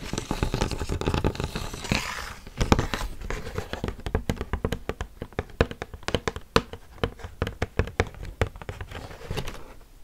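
A rigid, hand-sized pink plastic display tray holding makeup brushes, thin and hollow-molded, is held in both hands close to the mic and tapped with long painted fingernails. The first couple of seconds are a dense, rustling flurry of taps, then it settles into dozens of sharp, separate clicks with a hollow, low thump and almost no ring.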